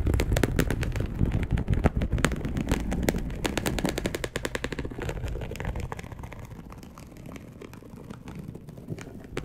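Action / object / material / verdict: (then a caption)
scrape / polyester mesh fabric sheet / polyester / none. A dark brown, perforated polyester mesh fabric sheet lies flat and is scratched with long acrylic nails. The result is a rapid, uneven run of sharp, crackling scratches with heavy low-end thump and bright clicks on top. The scratches grow quieter and sparser toward the end.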